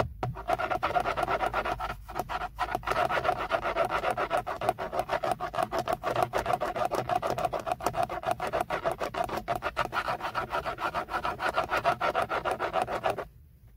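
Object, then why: Moulded plastic steering wheel airbag cover. Fingernails scratch and rub the grained surface around the badge on a textured black plastic BMW steering wheel airbag cover, a hollow molded panel. A fast, steady run of dry scratching strokes, with a hollow mid-range tone, continues for about 13 seconds before stopping abruptly.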